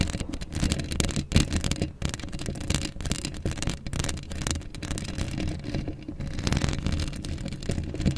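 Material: Metal mesh.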